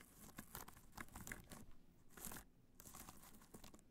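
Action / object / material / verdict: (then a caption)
scrape / hard-shell clutch covered in rhinestones / rhinestones / none. Long nails scratch and tap across a hollow black hard-shell clutch covered in multicolor rhinestones, resting on white fur. The result is a dense run of crinkly, crunchy scraping with short sharp ticks, rising and falling in brief bursts with a slight dip in the middle.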